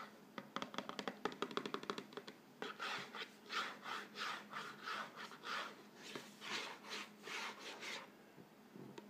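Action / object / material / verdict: scrape / thin cardboard cracker box / cardboard / none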